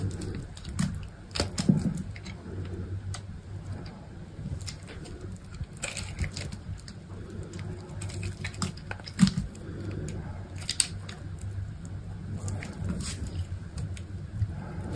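A utility knife blade carves curled shavings from a solid, hand-sized cream soap bar. Soft, low scraping and pattering sounds continue throughout, broken by occasional brief, brighter clicks and scratches as the blade cuts.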